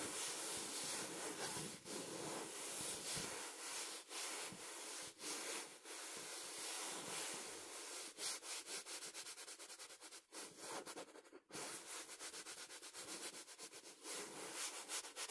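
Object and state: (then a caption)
Fabric cushion being scratched. Fingertips scratch and rub a small, soft stuffed fabric cushion with a printed blue-and-pink cover and Portuguese text, held against the face. The sound is a bright, hissy, continuous rustle with little low end, broken later by quicker, choppier scratching strokes at roughly four per second.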